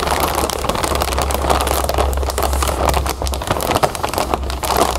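A full clear plastic bag of cereal puffs is scratched and squeezed with long nails while fingers handle its zip edge. The sound is a steady, dense crinkling and crackling, with quick scratchy bursts over a low, constant hum.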